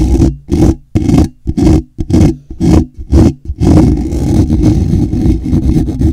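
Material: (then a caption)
Metal mesh. Fingers with short nails scratch the lower edge of a hollow, black woven wire-mesh microphone grille. The result is a series of short, rough, low rumbling scrapes broken by brief silences. It then turns into continuous heavy scratching that runs to the end.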